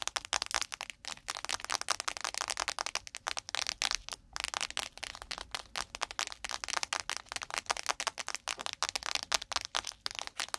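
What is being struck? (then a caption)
Thin plastic food packet. A thin, crinkly blue plastic nori seaweed packet lying on a microphone is tapped and scratched quickly with long nails. The result is a dense, rough stream of sharp, bright crackles and clicks with almost no low end. Each tap dies away almost instantly.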